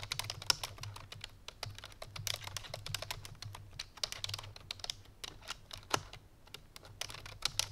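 A full-size black plastic computer keyboard resting on a white fur rug is typed on rapidly with the fingertips and painted nails of both hands. A fast, continuous stream of short, bright, clicky keystrokes fades almost instantly, with a few louder accented taps. A faint low hum runs steadily underneath.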